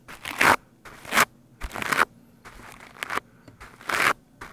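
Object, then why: Foam microphone windscreen and plastic bristle brush. A stiff-bristled plastic scrub brush is brushed fast over the top of a black foam microphone windscreen. The result is loud, scratchy, crunching bursts that are bright and hissy, peaking in the upper mids with almost no low end. Each stroke stops abruptly, with quiet gaps between the irregular strokes.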